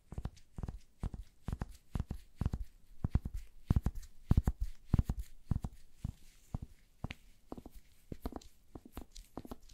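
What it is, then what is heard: Wooden hair brush. Gloved fingertips and nails scratch and brush across the pin bristles of a wooden paddle hair brush with a solid wood handle. Quick, irregular bursts of dry scratching and crackling follow one another, each a short, deep-bodied rasp with a bright, crisp edge that cuts off almost at once. The strokes continue steadily throughout with brief quiet gaps between them.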